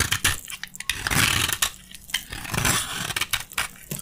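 A metal utility blade scrapes and shaves crunchy flakes from a narrow, solid, dry beige soap bar held in the hand. The result is bright, gritty crunching in long rasping strokes broken by sharp, quick crackles, with little low end.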